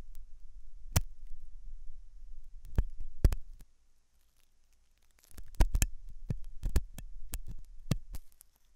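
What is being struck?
Silicone dummy ear of a binaural microphone.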